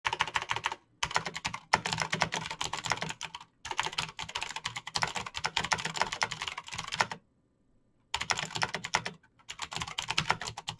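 Both hands type fast with fingertips and short nails on a Razer BlackWidow backlit plastic mechanical keyboard with clicky green switches, set as a solid device on a desk. Bursts of sharp, bright clicking taps come in quick runs, broken by a few short pauses and one longer silence near the end before the typing resumes.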